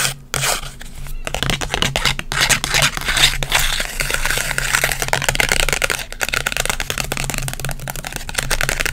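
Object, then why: Instant photo, paper and plastic. A small, textured green instant photo with a white frame, made of paper and plastic, is held in both hands and scratched and tapped with long white acrylic nails. Dense, bright scratching and crinkly scraping fill the clip, with quick dry taps and short pauses. A faint steady low hum sits underneath.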